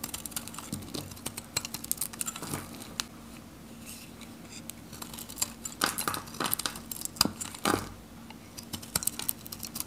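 A steel knife carves and scrapes thin curls off a dry, varnished Godrej No.1 soap bar, solid pink with a red rim and held in the hand. It makes rapid, crisp, bright scraping clicks and short crackling strokes over a faint steady low hum. The scraping continues until the face of the bar is smooth.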